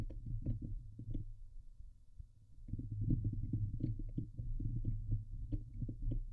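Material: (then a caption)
Metal mesh. Both hands cup the fist-sized Blue Yeti USB microphone head, a hollow dome of woven metal wire mesh over a silver metal body, and scratch the grille with medium-length painted fingernails. The result is a deep, muffled rumbling of rapid, irregular scratching bursts with a steady low hum underneath. It dips quieter for a moment near the middle, then returns at full intensity.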